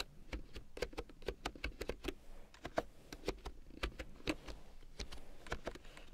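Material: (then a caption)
Plastic. Long painted nails type on a full-size large-print keyboard with a black plastic frame and big yellow plastic keycaps, lying on faux fur. Quick, dry plastic clacks with a hollow midrange body and bright click edges come in uneven runs, separated by short pauses. Each tap dies away almost instantly.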